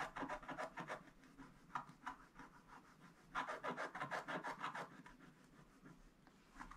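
A wooden stick scratches away the black coating on the right side of a gold scratch-art paper page. Quick, rasping strokes come in two busy bursts separated by a quieter stretch of lighter scraping, with a dry mid-range texture centred near 1 kHz.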